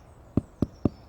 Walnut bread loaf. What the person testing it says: give it a tap if it sounds hollow you know it's baked